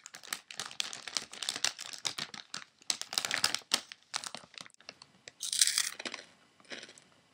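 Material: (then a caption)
Metallized plastic. Fingertips grip and crumple a medium-size Pirate's Booty chip bag of thin foil-lined plastic film, apparently holding snacks and lying on a table. Dense, bright crinkling comes in rapid irregular bursts with almost no low end, and a louder, sustained rustle swells just past the five-second mark before quieter crinkles trail off.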